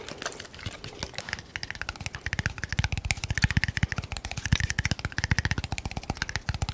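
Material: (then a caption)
Glass. A small cylindrical red glass bottle with a label, which looks filled, is held in one hand close to the mic and tapped quickly with the fingernails. The result is a rapid, uneven stream of short, dry clicks, each with a dull low knock and a bright edge that dies away almost at once. The tapping grows louder and more forceful after the first couple of seconds.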